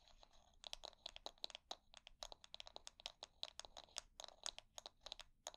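Long nails scratch and strum across the wooden bristles of a hair brush held bristles up. The result is a quiet, rapid run of dry, crisp clicks and crackly ticks, bright and high with almost no low end. Each flick is very short with no ring.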